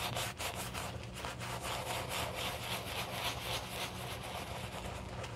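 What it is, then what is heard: Leather shoe being brushed. A black leather shoe held in a gloved hand has its foamy upper scrubbed with a wooden-handled horsehair brush. Quick, steady back-and-forth strokes give a bright, scratchy bristle rasp over a faint low hum.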